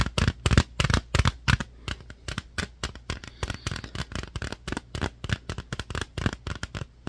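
A small, hollow, clear plastic slim jewel case holding a DVD-R disc with a paper insert is tapped and scratched with fingertips and nails. About 34 short, dry, hollow taps come in an irregular, quick rhythm, mostly low and thumpy with brief bright clicks and faint scratching between them. Each tap dies away almost instantly, with no ring.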